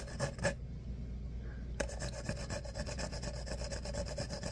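Fingernails scratch and rub the ripple ribs of a tan, hollow, empty-looking paper coffee cup held in the hands. Two quick rasping strokes are followed by a brief quiet pause, then a steady run of rhythmic ribbed scraping with a hollow tone near 550 Hz.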